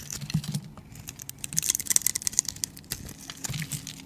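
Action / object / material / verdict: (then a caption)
scrape / bar soap cut with a metal blade / soap / none. A metal utility blade carves into a solid, rounded, palm-sized cream bar of soap held in the hand, scraping off layers of cubes and shavings. Crisp, bright crackling scrapes and rapid ticking cuts come in dense bursts, with soft low thuds underneath and very little ring after each cut.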